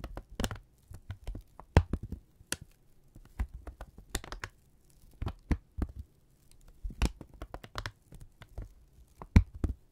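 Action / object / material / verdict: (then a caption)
scrape / thin kraft paper strip / paper / none. A thin brown kraft paper strip is held in both hands and crinkled, stretched and rubbed with the fingertips. The result is a quiet, irregular run of short, sharp crackles and snaps over a low, dull rustle.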